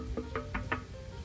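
Knocks on the outside of the exposed original metal fuel tank of a Benelli TNT 249 S motorcycle, unlike a plastic-covered tank. Four short, dull knocks with a low tone and very brief ring are heard over a steady low background hum.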